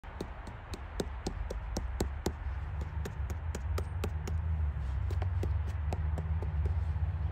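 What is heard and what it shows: A snail polypore bracket fungus is tapped repeatedly in the woods, giving short, dry knocking clicks in a quick, uneven clip-clop rhythm. The taps sound over a steady low rumble.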